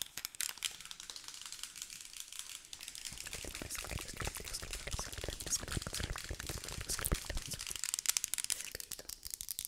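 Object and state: Plastic supplement bottle.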